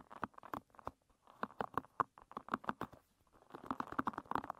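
A hairbrush with dense wooden pins facing up, its pin tips scratched and strummed by long red nails. Quick, dry clicks and brushy scratches come in uneven bursts, with a bright, papery tone and almost no ring after each stroke.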